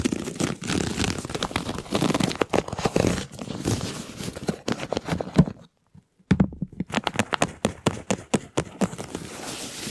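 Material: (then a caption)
Plastic. A large, hollow, ribbed white flexible plastic duct tube arched over a microphone is stretched and compressed while fingers rub along its ribs. The result is dense crinkling, scraping and rapid clicking with a low hollow body. A brief silence around six seconds is followed by sharp, distinct ticks over a soft hiss.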